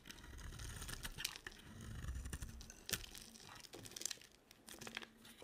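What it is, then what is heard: Dry soap bar being shaved. A box cutter blade shaves and carves a solid, hand-sized bar of white dry soap with a red coating. Crisp, bright scraping and crunchy crumbling sounds come in quick bursts over a soft low rumble, with a few sharper snaps as pieces break away.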